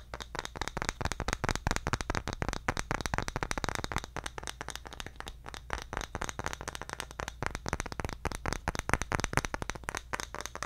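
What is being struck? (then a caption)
Bamboo jar lid. Fingertips tap rapidly on a round, engraved, roughly palm-sized bamboo jar lid held close to the mic. The sound is a steady stream of short, dry, hollow clicks with almost no ring, over a faint low hum.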